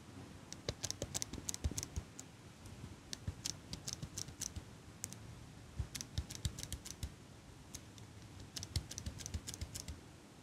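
A small metal eyelash curler, held close to the mic in hands with long pink nails, has its handles squeezed and clicked over and over. Sharp, bright metallic clicks come in quick clusters with short pauses between them, over a soft low rumble.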